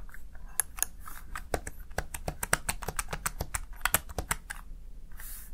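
Fingertips rapidly press the keys of a Razer Tartarus Chroma plastic gaming keypad. About 22 short, sharp plastic clicks sound in quick succession, with a bright tick on each press and a soft low thud underneath. Each click stops almost instantly with no ring.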